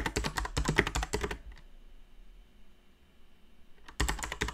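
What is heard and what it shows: Rapid typing with both hands on a full-size backlit Alienware AW410K mechanical keyboard with Cherry MX Brown switches, plastic keycaps and a solid frame, with long dark-painted nails clicking against the keycaps as the keys are pressed. A quick burst of sharp, bright clacks with a low thock fills the first second and a half, then there is a near-silent pause before the fast typing resumes at the end.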